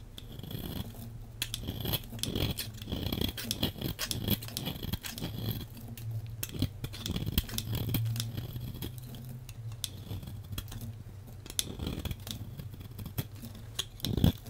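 A metal blade scrapes and shaves a solid, hand-sized green oval bar of soap, peeling off curls from the same bar throughout. Quick, dry scraping strokes follow one another densely, each a short crisp rasp with bright, papery texture over a steady low hum. The strokes come in irregular bursts of varying loudness, with a few sharper scrapes standing out near the end.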